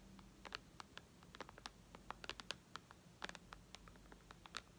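Long red nails tap on the glass screen of a white iPad lying flat. The result is a quiet run of quick, irregular, dry clicks with bright, sharp tops that stop instantly, over a faint low background hum.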